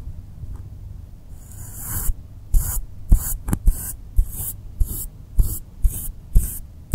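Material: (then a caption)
Polystyrene foam. A wide bristle paintbrush rubs and sweeps across the textured surface of a flat blue polystyrene foam board lying on a table. About eleven bright, airy swishes come in quick, slightly uneven strokes, each with a soft low thump. A steady low hum runs underneath throughout.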